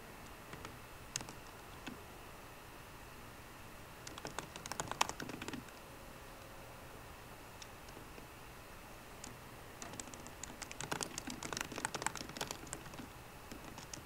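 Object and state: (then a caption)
Laptop keyboard with plastic keys. Fingertips with short green nails type on the low-profile plastic keys of a 13-inch aluminum MacBook Pro keyboard. A few scattered key taps come first, then quick bursts of soft, bright clicks, with quiet stretches between them. The sound is light, crisp tapping with no ring after each press.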